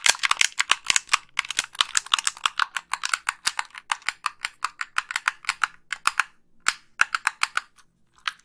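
Long pink nails tap and click the buttons of a hollow white plastic Xbox 360 gamepad held up toward the camera. The result is dozens of sharp, dry, bright plastic clicks and taps in a quick, uneven run, each dying away almost instantly, with brief pauses near the end.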